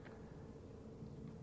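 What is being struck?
Nothing is struck.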